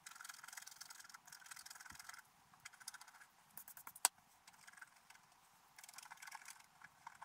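A wooden stylus scratches details into a flat, black-coated scratch art paper page. Quiet, bright, scratchy strokes come in rapid bursts separated by short pauses, with one sharper, louder tick partway through.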